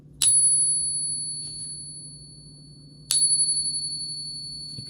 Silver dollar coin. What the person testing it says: since this is 90% silver it has a different ring but unmistakable